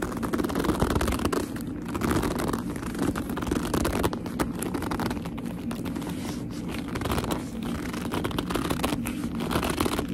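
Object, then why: Leather handbag. Fingertips and long nails grip and squeeze the top edge of a hollow black leather handbag held upright. The result is continuous squeaky rubbing with dense crackling scrapes over a low rumble. The texture runs at a steady level throughout with small bursts.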